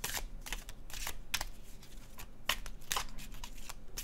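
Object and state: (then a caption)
Tarot card deck being shuffled. A deck of laminated cardstock tarot cards with red-orange artwork is held in the hands and overhand shuffled over a blue cloth. The cards slide and rub against each other in soft, papery bursts of bright, hissy friction, with crisper snaps now and then over a low background hum.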